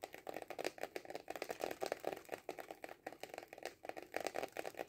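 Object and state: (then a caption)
Cardboard kaleidoscope tube. Fingernails tap fast on a hollow cardboard kaleidoscope tube standing upright on a table. A rapid, uneven run of short, dry, hollow taps carries a papery midrange tone with no low end, and each tap dies away almost instantly.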